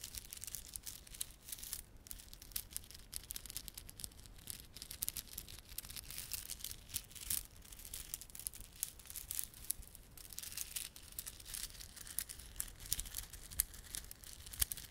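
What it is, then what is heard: Plastic beaded garland. A small clump of plastic garland, with solid glossy dark blue and silver beads and red spiky plastic fringe, is held in both palms while fingertips rub and squeeze it. It makes a steady stream of quiet, bright clicking and crinkling that continues throughout.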